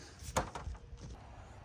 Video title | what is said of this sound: 2001 international 4300 4200 4100 front brake replacement rotors and pads and caliper | goes from a thud to a tink sound. That means it's bottomed out, and it is perfectly lined up all the way around